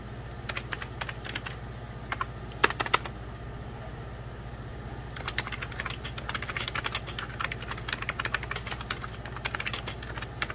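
Fingertips type on the keys of a beige plastic 1990s Packard Bell computer keyboard, including the lower rows and the spacebar area. Sparse, sharp clicks in the first half give way to a denser run of quick, bright keystrokes, all over a steady low hum.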